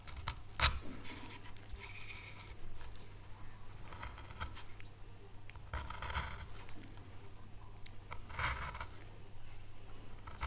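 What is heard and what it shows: A gloved hand works a wood-handled gouge into a small solid pale wood panel carved with an oak leaf relief, scraping and cutting the light wood. Soft, dry scrapes and crisp cuts come in short bright bursts. A steady low hum runs underneath throughout.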